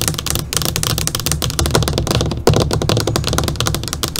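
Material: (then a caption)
Glass and plastic. Long, pointed, polished fingernails on both hands tap and drum their tips across the surface of a large, flat, black LCD computer monitor screen lying face up. The result is a rapid, dense stream of short, dry clicks with a low, hollow thud beneath them, steady throughout and briefly louder near the middle.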